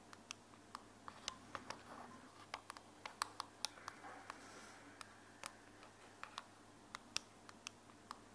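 Long nails tap an open white plastic earbud charging case held in the hand, with the earbuds inside, striking both the case and the earbuds. About 25 sharp, bright clicks are heard, each dying away instantly. Faint scratchy rustling runs between them at a low overall level.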